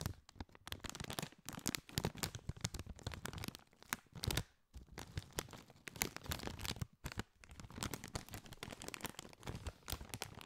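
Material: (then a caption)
Metallized plastic. A partly filled Doritos chip bag made of foil-lined, metallized plastic is squeezed and crinkled with the fingers for about ten seconds. It produces dense, crackling crinkles that sound both bright and low, with short quiet gaps near the middle and a little later.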